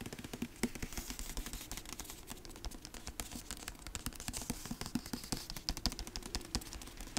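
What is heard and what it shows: Fingertips tap rapidly on the cardboard cover and spine of a dark hardcover book held close to the mic and moved around. The result is a dense, steady run of quick, dry taps with a soft low thump and bright clicky edges, each dying away almost instantly.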